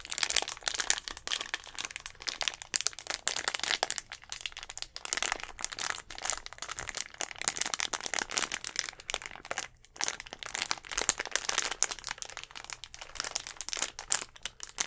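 A clear plastic Gatorade bottle with an orange cap, mostly empty with a little blue liquid inside, is gripped and squeezed with fingertips and nails close to the mic. Dense, bright crinkling and sharp crackles run steadily for about fifteen seconds, with almost no low end and only brief gaps between bursts.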